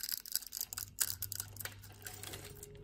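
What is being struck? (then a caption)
Bar of soap cut with a knife blade. A utility knife blade scrapes small cubes off a solid orange soap bar, making a rapid series of crisp, bright scraping clicks. The quick, dry ticks come in uneven bursts over a faint low hum, then settle into softer scraping.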